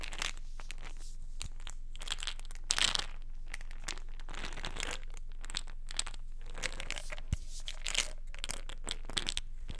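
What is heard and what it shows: Long nails tap and scratch the side and paper label of a small white plastic vitamin pill bottle held in the hands. The result is an irregular stream of dry, crinkly scratching and light clicky taps with bright edges, over a steady low hum.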